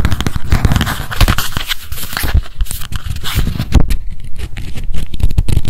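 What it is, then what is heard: Paper spiral notebook tapped with nails. A small pink spiral memo notebook is turned in the hands while long nails tap rapidly on its cover and page edges. The result is a dense run of soft, dull, low taps with light papery crackle, each tap dying away almost at once.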